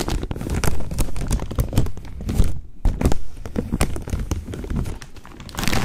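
Fingers crinkle and fold the upper part of a large, open-topped plastic snack bag with corn rings inside. The result is a dense run of sharp crackles and soft thumps over a heavy low-end rumble, with a brief quieter pause near the middle before the crinkling picks up again.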